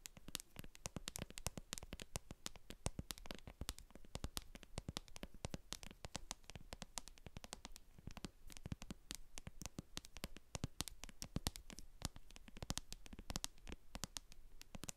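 Long acrylic nails tap and scratch the base of a translucent plastic cosmetic jar full of white cream, with a barcode sticker on its bottom. A quiet, steady stream of rapid, crisp clicks and scratchy patter, each with a soft low thump and a bright edge, stops short with almost no ring.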